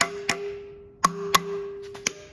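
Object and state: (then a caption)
Engine valve moving freely (hollow tap). Five sharp, hollow metallic taps are struck on the steel valves of a barn-find 1956 Chevy 265 V8 being checked for stuck valves, each tap leaving a faint, steady ringing tone between hits. The hollow sound shows the valves are moving freely.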